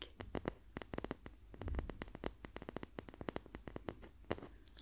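A wooden ruler is tapped repeatedly by hand in a guessing test between a wooden and a plastic ruler. It gives a quick, irregular run of short, dry clicking taps with almost no ring over a faint low background. The ruler being tapped turns out to be the wooden one.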